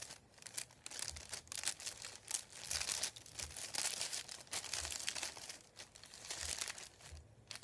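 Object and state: Sheet of paper being crinkled.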